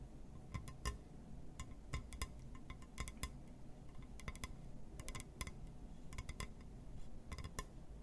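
A glass surface is tapped and scratched with no talking, giving a series of short, sharp clinks and ticks that ring briefly with a bright, glassy edge. A steady low rumble sits beneath the quiet taps throughout.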